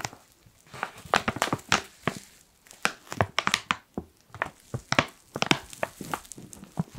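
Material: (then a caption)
Foil. Fingers scratch and crinkle a black foil coffee pouch, producing a quick run of sharp, dry crackles and crinkles with bright highs and almost no ring. The bursts come in uneven clusters separated by short quiet gaps.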